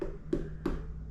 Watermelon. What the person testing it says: you also want to be able to knock on it and it sounds hollow